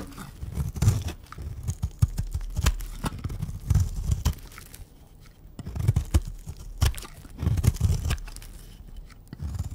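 A pink round bar of dry soap held in the hand is shaved with a utility knife blade into flakes. Repeated dry scraping and crunchy tearing strokes are heard, mostly low in tone, with brief sharp clicks between them.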